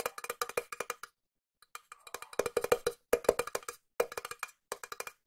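A small, hollow, cylindrical silver metal tin is tapped on its side and lid with long nails while being turned in the hand. About thirty quick, clicky taps come in fast runs and slower groups, with a brief pause near the start. Each tap gives a short, hollow metallic ping around 470 Hz with bright edges that dies away almost at once.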